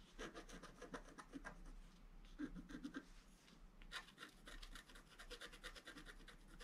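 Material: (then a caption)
Coated paper. A wooden stylus held in the fingers scratches the black coating off a flat, roughly A4 scratch-art sheet in a book lying solid on a table. It makes quiet, dry, raspy scraping in quick short strokes with a gritty, bright edge. There is a brief lull partway through before the strokes resume.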